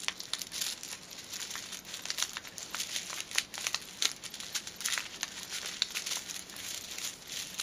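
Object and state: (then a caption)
Paper silica gel sachet, crinkled. A small white printed paper silica gel sachet is held in the fingertips and crinkled and rubbed with fingers and long teal nails. The result is a steady, bright, dry crinkling with quick, sharp crackles scattered throughout and almost no low end.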